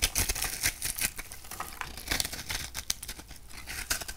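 A metal knife blade scrapes and cuts a hand-sized, dry bar of purple and pink soap held in the palm, breaking it into crumbly pieces. A quick, uneven series of bright, crisp crunching and scraping sounds is heard, each dying away almost instantly.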